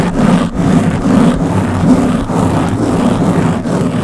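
Long blue-painted nails on both hands scratch a round black foam windscreen covering the head of a Blue Yeti microphone. The result is a steady, dense, muffled scratching rumble, heavy in the lows with almost no bright edge, dipping briefly a few times as the strokes change.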